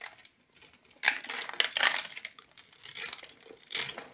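A metal knife blade scratches and carves a grid into the surface of a palm-sized solid blue soap bar held in one hand, shaving off small soap cubes. The cutting comes as bright, dry scraping and crunchy crinkling bursts with almost no low end, some strokes louder and sharper than others.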